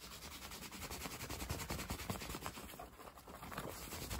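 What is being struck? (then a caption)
Cotton baseball cap. Fingertips scratch and rub the crown and brim of a dark Polo cotton baseball cap worn on the head. The result is a fast, irregular run of close, dense fabric scratching with soft low thumps and a bright, hissy texture throughout, and no lingering ring.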